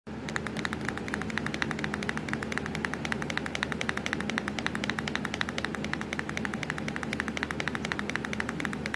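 Long, pointed acrylic nails tap rapidly on the black plastic keys of a hollow laptop keyboard. A steady, fast run of sharp, bright clicks plays over a constant low hum, and each tap dies away almost instantly.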